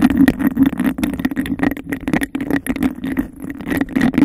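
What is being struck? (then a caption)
Textured glass cup. Long acrylic nails rapidly tap and scratch a hollow, empty textured glass cup held over the mic. A dense, fast run of clicks and scrapes with a steady hollow resonance around 280 Hz and a faint ringing near 2 kHz, each tap dying away almost instantly.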